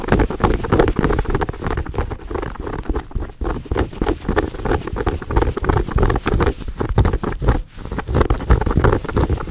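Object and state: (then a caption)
Plush fabric pouch. Long nails scratch and tap a small, soft, brown fuzzy fabric pouch close to the mic. The result is a dense, muffled patter of soft, irregular taps mixed with fuzzy scratching, about three a second and steady in level. The sound is deep and dull, with almost no bright edge.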